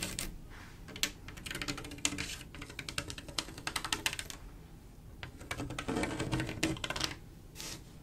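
Long acrylic nail tips tap quickly across a flat mirror-glass mosaic tile picture, a panel of silver mirror-glass tiles set in grout. Clusters of short, bright clicks come in bursts with brief pauses between them, each tick dying away almost at once over a soft low background.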